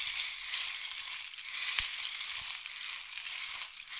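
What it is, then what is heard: Wooden rain stick. A long, hollow, painted wooden or bamboo rain stick is tilted from diagonal to horizontal, sending its filling cascading down the tube. The result is a steady, bright, high-pitched hiss of tiny rattling grains, with one sharper click standing out near the middle.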